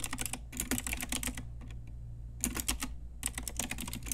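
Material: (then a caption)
Plastic. Fingertips and long nails of both hands type on a pink Ajazz retro typewriter-style mechanical keyboard with round plastic keycaps. Quick, bright clicky keystrokes come in three bursts separated by short pauses. A steady low hum sits underneath.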